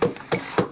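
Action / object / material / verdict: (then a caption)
knock / large wooden beam / wood / hollow. Knocks on a large wooden piece inside an ice cave: a few short, hollow-sounding raps with a mid-pitched resonance around 490 Hz that dies away quickly. The knocking shows the wood is hollow.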